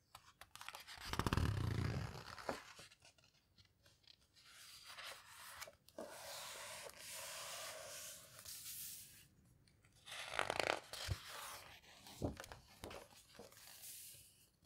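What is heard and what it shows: A page of a large open hardcover photo book about houseboats, printed on heavy, coarse paper, is turned with a loud papery swish and crackle. Both hands with long red nails then press the open pages flat and rub and squeeze them with palms and fingertips, making a soft, steady brushing hiss. A second louder rustle follows, then scattered light taps and scrapes.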